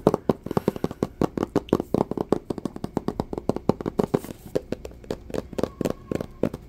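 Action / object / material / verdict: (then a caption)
tap / small cardboard box / cardboard / none. Fingertips and short nails tap rapidly on the sides of a small, hollow, white Samsung Galaxy S III cardboard box, producing about 40 dry, quick taps. Each tap gives a hollow, papery knock centered in the low mids that dies away almost instantly.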